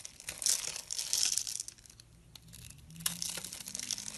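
A solid, palm-sized pink bar of soap, pre-scored in a grid pattern and held in the fingers, is scraped with a metal blade so small cubes flake off. Bright, crisp scraping and crumbly crackles come in dense bursts, quieter in the middle and building again toward the end.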